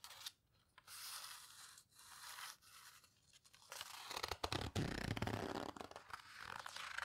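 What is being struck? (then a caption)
Paper photo book. Long-nailed fingers flip the pages of an open paper photo book and squeeze their edges. Soft, breathy paper brushing comes in short separate swishes. After about four seconds it turns louder and denser, with crinkly, crackling rustles, scrapes and low, dull thumps.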